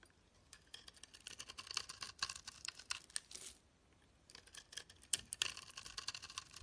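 A metal utility knife blade shaves curls off a solid rectangular pale green bar of soap held in the hand. The scraping makes bursts of dry, bright, crackling, crisp scratches with almost no low end. It goes quiet for a short pause midway, then the shaving starts again.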